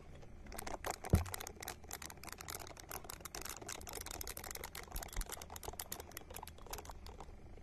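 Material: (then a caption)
Silicone. Long nails scratch a small, hand-sized, solid-looking purple silicone ball held close to the microphone, making rapid, dense, bright crackling scratches. The scratching runs steadily throughout over a faint low hum, with one louder knock early on.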